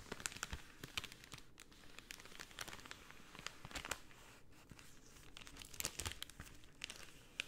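A pink cellophane sheet is flexed, then rolled into a tube and squeezed with fingers. It gives soft, continuous crinkling broken by many sharp, bright crackles and snaps, with no ring after each one.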